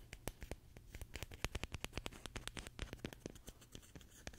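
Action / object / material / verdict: scrape / roll of plastic packing tape / plastic / none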